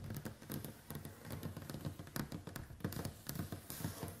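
Long white acrylic nails tap rapidly on the glass screen of a smartphone lying flat on a wooden table. The quiet, steady patter of clicks has a low, dull body and short bright ticks that die away almost at once.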